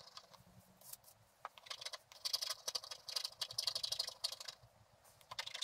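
A wooden stylus scrapes lines into a flat scratch-art card with a black coating over gold while the other hand steadies the card. The result is a steady run of dry, bright, raspy scratching strokes in irregular bursts, with almost nothing in the low range.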